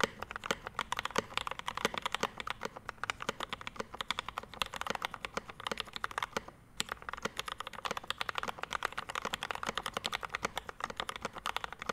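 Both hands type continuously with their fingertips on a Rama M65-B 65% mechanical keyboard resting on a desk mat, built with a dark metal case, PVD brass plate, ABS keycaps and Mint Panda linear switches. The result is a steady stream of short, dry, crisp keystrokes with a mid-pitched clack and bright top end, broken by a brief pause around the six-and-a-half-second mark before the fast typing resumes.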